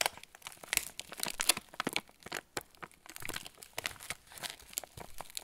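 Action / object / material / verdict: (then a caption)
scrape / plastic film cracker packet / plastic film / none. A hand-sized yellow plastic film packet of TUC crackers, full of crackers, is held in both hands while fingertips squeeze and rub the wrapper. This produces a steady stream of sharp, bright crinkles and crackles with very little low end and almost no ring after each burst.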